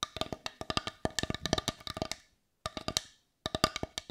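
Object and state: Wooden bowl tapped with nails.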